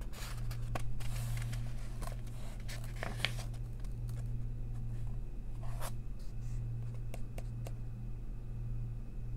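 A long nail tip traces along a printed text line on a crossword page of an open paper coloring book, making soft, dry scratching strokes with brief bright streaks. A steady low hum runs underneath throughout.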